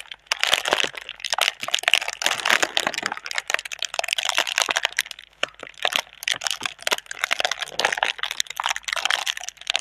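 A clear, thin, hollow plastic air-cushion packaging tube is held in both hands while long red nails and fingertips crinkle and scratch the film. The result is a steady stream of bright, crisp crackles and rustles with sharp clicks and no low rumble.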